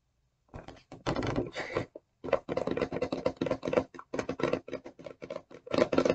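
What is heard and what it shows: Long nails tap and scratch the clear rigid plastic front of the blister box holding an e.l.f. brush and sponge set. A quick run of dry, clicky taps and short scrapes with a hollow plastic tone follows a brief scratching burst, each hit dying almost instantly.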